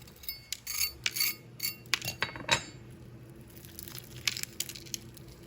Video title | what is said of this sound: The way to his heart "CRISPY SOUTHERN FRIED CHICKEN"•what a foodie eats to lose weight | I just wanted you to hear how crispy this chicken is